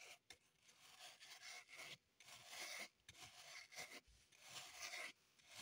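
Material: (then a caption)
Floral foam. A small solid green floral foam block held in the hands is scratched and rasped with long pointed acrylic nails, leaving crumbs on the table. Dry, bright, hissy scraping strokes come in bursts separated by brief pauses, with almost no low end.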